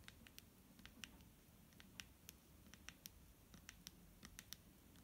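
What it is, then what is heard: Plastic bottle of liquid, fingernail taps. Fingernails tap and scratch a clear plastic micellar water bottle filled with liquid, making about twenty sharp, bright clicks with no ring. The taps come in an uneven pattern over a quiet, steady low rumble.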